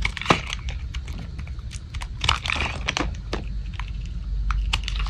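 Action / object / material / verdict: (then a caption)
scrape / bar of soap / soap / none. A thin remaining piece of solid, light-blue dry Old Spice bar soap, held in the palm, is scraped with a metal blade. The scraping produces a rapid run of crisp, dry crackles and snaps with bright tops as flakes break away, over a steady low rumble.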